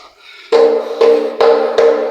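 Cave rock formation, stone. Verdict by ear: Ringing.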